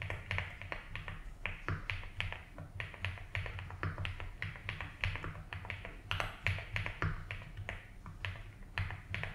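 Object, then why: Plastic mechanical keyboard. Fingertips type slowly on a 75% mechanical keyboard with ABS keycaps in a light blue plastic case, giving a steady stream of short, bright clacky taps. A low, constant hum sits underneath the keystrokes.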